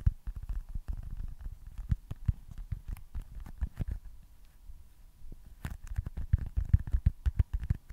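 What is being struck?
Foam stress ball.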